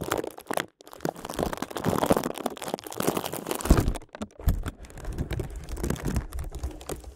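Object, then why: Clear plastic zip bag. Fingertips rapidly tap and crinkle a clear plastic zip bag held over a microphone with both hands. The result is a dense, close, low-heavy stream of crackling and crunching taps, with brief pauses near 0.8 and 4.1 seconds.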